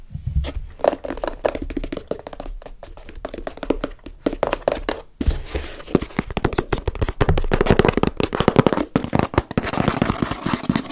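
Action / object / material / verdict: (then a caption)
tap / small corrugated cardboard box / cardboard / none. A small, closed, hollow brown corrugated cardboard box sealed with tape is tapped and knocked on its sides with long red-painted nails and fingertips, then lifted. The result is a steady stream of quick, dry, hollow taps and soft thunks with very short decay and mostly low-heavy tone, growing denser and louder in the second half.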